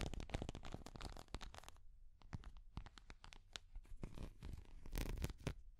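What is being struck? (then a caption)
Small hard plastic cat figure. Long nails scratch and tap a small, translucent orange hard plastic cat figure held in both hands. The result is a dense run of quick, dry clicks and scratchy rasps with bright, sharp edges over a low rumble. The sounds thin out to sparser taps in the middle before building back to busy scratching at the end.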